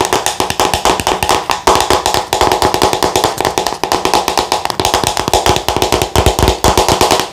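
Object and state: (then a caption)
Plastic skincare jar. Long nails tap rapidly on the body and lid rim of a white plastic Thayers skincare jar with a red lid, held in the hands. The result is a steady stream of quick, dry, hollow plastic clicks that ring briefly around 840 Hz, with bright high edges on each tap.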